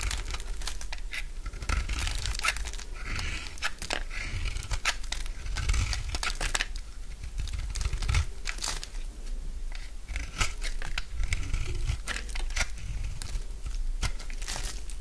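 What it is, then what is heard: Dry bar soap being shaved. A solid light green bar of dry soap held in the palm has its edge shaved into crumbly curls with a utility knife blade. Dense, rapid scraping and cutting strokes give off a dry, crackling crunch with bright crisp edges over a steady low rumble. The sound is close and continuous, with no talking.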